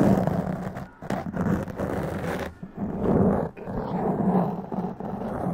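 Long press-on nails scratch intensely across a black foam windscreen on a large condenser microphone. The result is a dense, rough, low-heavy rustle with a growl-like drone around 180 Hz that surges and dips in bursts, briefly dropping out near 1 and 3.5 seconds.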